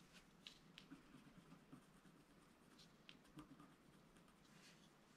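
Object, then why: Wax-coated scratch art paper scratched with a wooden stylus. A flat black wax-coated scratch art sheet, about A4, lies on a table and is scratched with a pointed wooden stylus held in the fingers while the other hand holds the sheet down. Quiet, bright scratching strokes come in short bursts over a low, steady background hiss.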